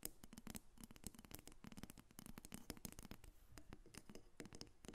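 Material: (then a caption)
Wood. Long nails tap and scratch a solid carved dark wooden dolphin figurine, about 25 cm long, resting on a table. The result is a rapid, continuous run of short, dry, muffled taps mixed with scratchy strokes, each dying away almost instantly.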